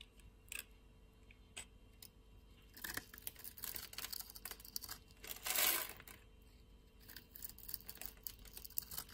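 A hand-sized solid pink bar of soap, held in the palm, is scored and shaved with a metal utility knife blade. The scraping and cutting make bright, crisp strokes, some in clusters. One louder, sustained scrape comes near the middle.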